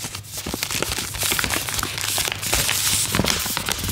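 A small pink Vitakraft "Mininos" cat treat pouch made of plastic foil, apparently filled, is held in both hands while fingertips and long nails crinkle and squeeze it. The result is a steady, bright crinkling with sharp, crackly snaps and little low end.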